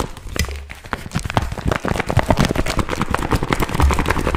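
A small glossy pink patent vinyl zip pouch is held in both hands while fingertips scratch and crinkle it. A dense, steady stream of crackling and scratchy rustles is heard, with soft low thumps beneath. The rapid, sharp crinkles continue without pause for the whole clip.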